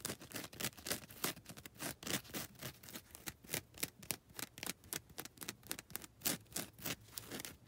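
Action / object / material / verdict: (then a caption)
scrape / foam nail buffer block with abrasive grit scratched by fingernails / foam / none. Long red nails scratch and rub the abrasive grit faces of a grey and lilac foam nail buffer block. The result is a quick, irregular run of short, dry, bright scratching strokes, about three to four per second, with little low end and no ring after each stroke.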